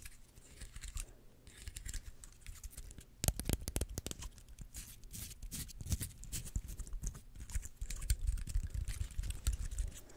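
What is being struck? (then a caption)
Pine cone scales. Long nails scratch and flick the stiff woody scales of a small, dry, dark brown pine cone held in the hands close to the mic. The result is a dense run of dry, crackly clicks and crinkly scraping with a close, bassy body, each tick dying away almost instantly. A louder burst of flicks comes just past three seconds, and the activity grows busier toward the end.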